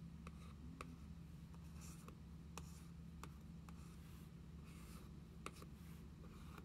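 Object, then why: Cardboard notebook cover. Long fingernails work over the cardboard cover of a notebook journal: one nail traces across the card, then both hands tap it. Sharp, dry clicks and faint scratchy strokes sit quietly over a steady low hum.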